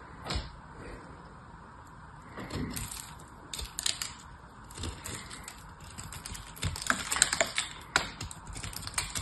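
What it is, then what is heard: Foil-wrapped dry soap bar being cut. A small knife blade held in one hand scrapes and cuts into a small, solid, oval dry soap bar wrapped in aluminium foil and held in the other hand. Crisp, bright cracking and crumbling sounds come in irregular bursts with short, quick-dying clicks, growing busier toward the end.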